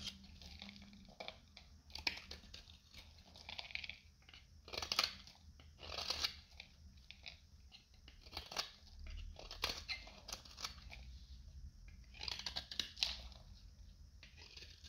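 A solid, hand-sized yellow oval bar of dried soap is held in the palm and shaved with a metal utility knife, letting crunchy flakes fall onto a white surface. Bright, dry crunching and scraping bursts come in repeated strokes over a faint low hum, with each stroke ending quickly.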